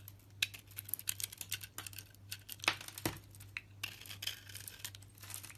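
A box cutter blade shaves and carves away the outer layer of a solid green-striped soap bar with a yellow inside, held in one hand. Bright, crisp scraping and crinkly crackles come in irregular bursts over a faint, steady low hum.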